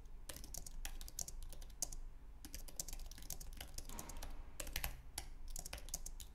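Fingertips type rapidly on a white, low-profile Apple Magic Keyboard with an aluminum base and plastic keys. Quick, crisp, bright key clicks patter in an uneven stream, each dying away almost instantly. A steady low rumble sits underneath throughout.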